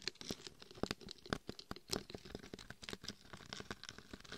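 Long painted fingernails tap and scratch across both sides of the face and head of a life-size mannequin head covered in coarse gold and red glitter, a hard, hollow shell with a microphone inside. A rapid, uneven stream of short, dry clicks and gritty scrapes crackles through the clip, each tap dying away almost instantly.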